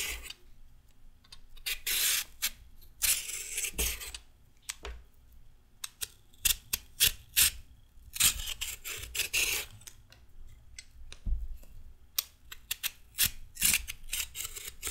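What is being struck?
Raw carrot under a metal peeler.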